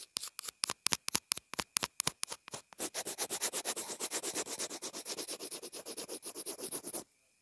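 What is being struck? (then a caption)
Small plastic earphone remote housing. A pencil tip scratches and taps on the housing of a small white plastic inline earphone remote and mic. It starts with separate, crisp, bright ticks, then turns into a faster, denser run of scratchy strokes that stops abruptly.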